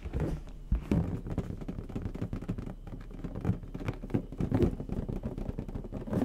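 A medium orange latex balloon, inflated with air and hollow, is held close to the microphone while the fingertips of both hands rub and tap its surface. The result is a steady run of soft, low, rubbery scratching and muffled patting, with a few sharper taps and squeaks standing out.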